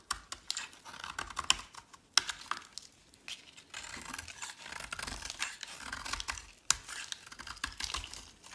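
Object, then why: Bar of soap cut with a metal blade. A solid teal bar of soap held in the hand is carved with a metal utility blade. Bright, crisp scraping and shaving strokes come in bursts with short pauses, punctuated by a few sharp clicks as the blade cuts into the soap.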